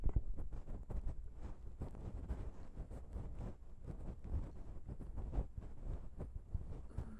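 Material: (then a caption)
Metal. Long pink nails tap and scratch the grilles of the small chrome metal XY microphone capsules on a Zoom H6 recorder, which sit on a plastic mount. The contact comes through as a dense run of quick, deep, muffled thumps and rubbing rumble with almost no high end. It plays at a steady, soft level throughout.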